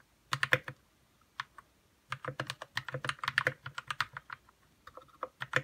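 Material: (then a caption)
Plastic. Fingertips type on a white RK61 60% mechanical keyboard with plastic keycaps, lubed red switches and a hollow plastic case. Quick bursts of keystrokes each give a short, crisp clack with a soft low thud underneath and a bright top. A brief pause near the start is followed by steady, uneven typing.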